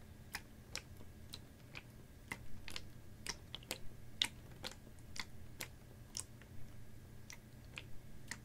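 A clear, ribbed PET water bottle, capped and about half full of water, is held horizontally and tapped with fingernails. Seventeen short, bright, clicky taps land at an uneven pace and die away almost instantly, over a steady low hum.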